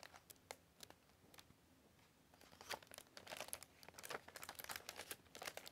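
Glossy paper pages of a large illustrated hardcover book, lying open on a table, are slid and turned by hand, with long fingernails touching the paper. Quiet, bright crinkling rustles and short swishes come in sparse bursts at first, then grow denser and louder in the second half. There is almost no low end.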